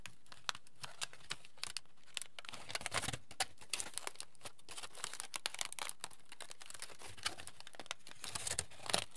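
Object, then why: Aluminium foil sheet. A hand-sized sheet of crumpled aluminium foil is spread open and crinkled between fingertips. It makes a quiet, dense run of bright, crisp crackles and small snaps that come in quick clusters. Each crackle dies away almost at once.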